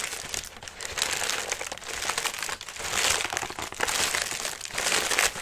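Fingertips scratch and rub the pleated paper of a hollow, lime-green tissue paper lantern, collapsed flat on its wire frame and held on a lap. The result is a steady stream of dense, bright crinkling that swells and fades in waves, with almost no low end.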